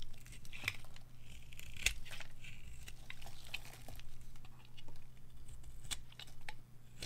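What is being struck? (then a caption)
Bar of dry soap. A white oval bar of dry soap, held in a hand with long nails, is carved and scraped with a metal blade, shaving off white flakes. Soft, continuous crinkly scraping is broken by a few sharp, bright cuts that crackle and die away almost at once, all over a steady low hum.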